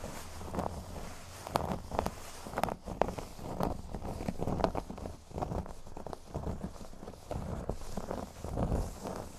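Fingernails scratch the surface of a flat, thin, solid cork board resting on a table. The scratching comes in dull, low, rough bursts with a few sharp clicks, staying mostly muffled with little brightness.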